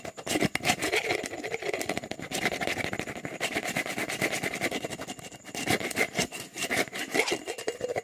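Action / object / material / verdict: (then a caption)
scrape / clear plastic jar with lid / plastic / none. A hollow, apparently empty clear jar, probably plastic, with an orange lid is held close to the mic while fingertips and nails scratch and rub its sides fast. The result is a dense, continuous run of quick, bright, rasping scratches with a hollow plastic tone and little low end, easing briefly before picking back up.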